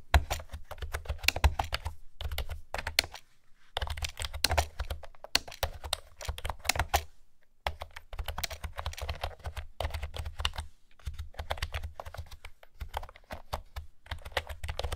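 Fingertips and nails type on a blue plastic keyboard with round keycaps. The rapid, crisp taps come in bursts separated by brief pauses, with a low thud under each bright click.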